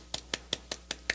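An osteotome is tapped against the already fractured bone of the maxillary sinus floor to free the sides of the osteotomy. Six short, evenly spaced taps are heard, soft and bright with almost no ring, rather than resonant. The dull tapping confirms the sinus floor has fractured.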